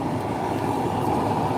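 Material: Nothing is struck.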